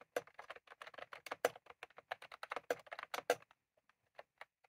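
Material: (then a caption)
Plastic. Both hands type rapidly with their fingertips on a full-size, retro-style plastic mechanical keyboard with round cream plastic keycaps and a plastic case, sitting on a desk. A quick, uneven flurry of short, crisp clicking keystrokes runs for about three and a half seconds. It thins to a few scattered taps before stopping.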